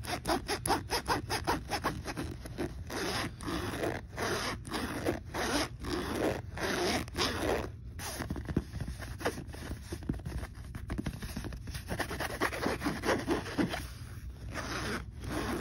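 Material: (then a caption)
Metal, fabric. Fingers slide the metal zipper slider back and forth along the teeth of a black fabric backpack's front pocket. The result is a rapid, continuous series of rasping zips with short gaps between strokes, and a low rumble runs underneath throughout.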